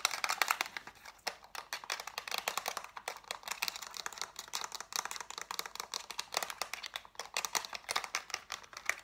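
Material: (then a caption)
Plastic. A black plastic TV remote with rubber buttons is tapped rapidly on its buttons and casing with long nails and fingertips. The result is a dense, continuous stream of crisp, bright clicks with very short decay and almost no low end.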